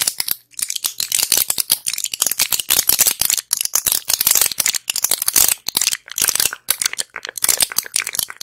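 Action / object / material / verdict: tap / plastic and foil pill blister pack / plastic, foil / none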